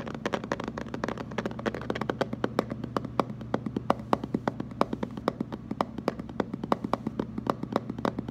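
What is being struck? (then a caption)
Plastic water jug. A hollow blue plastic water jug, held with its round end facing forward, is tapped rapidly with the fingertips and short nails of both hands. It makes a fast, uneven stream of short, dry clicks and knocks with a hollow body. A steady low hum runs underneath.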